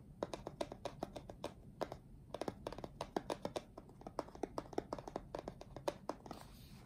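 Fingertips of both hands tap and scratch the top face of a closed, printed cardboard retail box for an Apeach keyboard, flat and hollow with the product inside, lying on a dark table. The result is a quick, irregular run of dozens of soft, dry, hollow taps with a mid-pitched knock. They stop instantly with no ring, over faint scratching and a quiet hiss.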